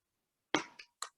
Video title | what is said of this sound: Cinco De Mayo Meal Prep Demo | you can hear how crispy of a shell that is